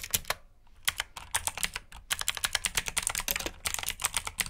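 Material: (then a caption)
Plastic. Fingertips type on the keycaps of a black plastic mechanical keyboard with blue switches, producing bright, crisp clicky keystrokes in quick irregular bursts. Each click is sharp and dies away almost instantly, with little low-end body.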